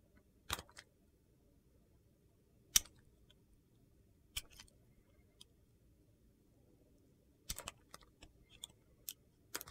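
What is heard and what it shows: A utility knife blade carves thin slices from the edge of a handheld, solid red and yellow bar of soap. Each cut is a short, dry, bright crunchy scrape with almost no ring. The cuts come in scattered bursts over quiet low background noise.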